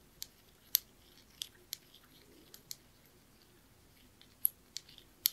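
A small, dark blue, glossy glazed ceramic knob with white lettering is turned in the fingers and tapped and clicked with the fingernails. The result is a quiet series of sharp, bright, very short clicks spaced irregularly over a faint hiss, with almost no low end and no ringing after each tap.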